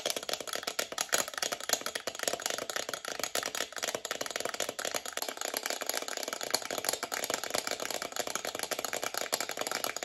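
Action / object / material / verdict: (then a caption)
tap / metal alarm clock with twin bells / metal / none. Long nails rapidly tap and scratch the glass or plastic face and rim of a hollow, chrome metal twin-bell alarm clock. The result is a dense, continuous stream of quick, dry, bright clicks and rattling scrapes with almost no low end and no ringing after each touch.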